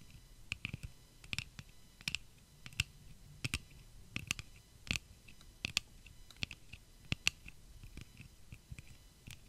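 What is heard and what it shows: Long fingernails tap and click along the temple arms of clear pink plastic eyeglass frames worn on the face. The result is a quick series of dry, bright clicks, each with a soft low thump beneath it and almost no ring, spaced unevenly over a quiet background.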